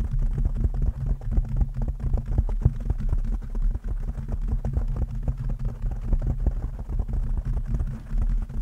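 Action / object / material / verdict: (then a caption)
scrape / foam microphone windscreen / foam / none. Long nails on both hands scratch and tap a soft, porous black foam microphone windscreen. The result is a steady, muffled low rumble filled with rapid soft thumps and crackly scuffs, with almost no high or bright content.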